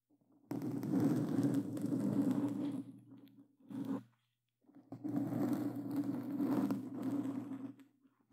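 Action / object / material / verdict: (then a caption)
scrape / foam microphone windscreen / foam / none. Claw-gloved hands scratch and grip a black foam windscreen on a microphone, producing dense, crackling scrapes over a heavy low rumble with bright, hissy edges. Two long stretches of rough scratching are split by a short burst and a brief silence.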